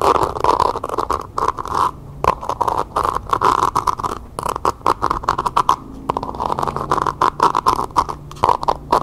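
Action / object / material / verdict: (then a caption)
scrape / faux leather covered pencil cup / faux leather / none. Long painted nails scratch and tap quickly across the outer surface of a small, hollow, empty pencil cup covered in map-printed faux leather, held upside down. The result is a dense, continuous run of dry scratches and quick taps with a hollow midrange resonance near 1 kHz, broken by brief pauses.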